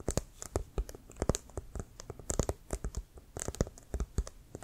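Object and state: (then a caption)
Inflated leather football, tapped and scratched. Fingernails tap and scratch the surface near the white stripe of a brown, leather-covered American football that is hollow, inflated and held near the shoulder. Around two dozen short, dry taps land in an irregular rhythm, each a dull, low thud with a brief scratchy high edge and almost no ring. Faint rubbing scratches fill the gaps between them.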